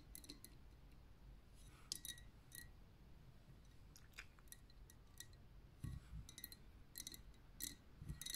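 Long nails tap quickly on the upper glass of a pink lava lamp, a liquid-filled glass vessel. Bright, sharp clicks in irregular bursts cut off almost at once, over a low, steady rumble.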